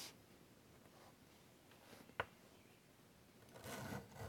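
A chalk stick held in the fingertips draws curved wing lines across a large, flat, wood-framed chalkboard, scratching the board surface. Soft, faint strokes give way to a sharp tick midway, then a louder, longer, bright scratching stroke near the end.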